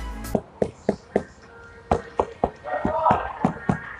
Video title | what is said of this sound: Pasang Full Peredam Suara di Mobil Eropa - VW Tiguan Indonesia | yang udah dipasangin peredam. Suaranya duk.